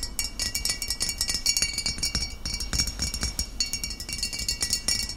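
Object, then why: Glass bottle of liquid. Short fingernails of both hands rapidly tap the glass sides of a medium glass vinegar bottle with a paper label and a metal screw cap, filled with cloudy amber liquid. The result is a steady stream of bright, high clinks that die away almost instantly, with faint low thumps underneath.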